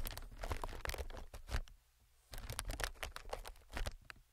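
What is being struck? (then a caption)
Inflated plastic film air pillow. Fingertips tap and scratch the surface of a clear, hollow, inflated plastic-film air packing pillow. Dense crinkly taps and scratches come with soft hollow thumps and bright crackle, and a brief near-silent pause falls in the middle before the tapping resumes.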